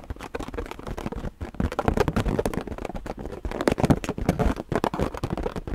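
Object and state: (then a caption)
Rubber balloon. An inflated, hollow purple latex balloon held close to the mic is tapped and scratched with long painted nails. The result is a steady stream of quick, dull, rubbery taps and soft scrapes, heavy in the low end with almost no high, bright content. Each tap dies away almost instantly.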